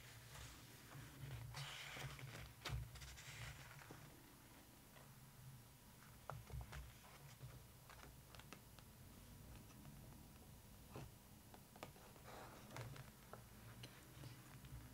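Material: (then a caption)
Glossy paper. Long acrylic nails tap and scratch on the glossy printed pages of an open photo book left on the same spread. Quiet, irregular sharp taps and bright scratchy strokes sit over a steady low hum.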